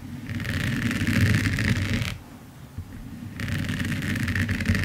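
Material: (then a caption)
Resin. Long nails scratch across a large finished diamond painting of resin rhinestones on canvas lying flat, making a dense, gritty rasp with a bright hiss over a low rumble. The scratching runs for about two seconds, drops to a quieter pause, then resumes at full strength until the end.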